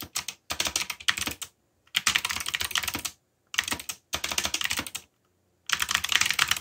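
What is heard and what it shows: Fast typing with fingertips on a backlit black plastic mechanical keyboard produces rapid, bright, clicky keystrokes. The clicks come in six dense bursts separated by short silent pauses. Each keystroke is short and dry, with almost no low end.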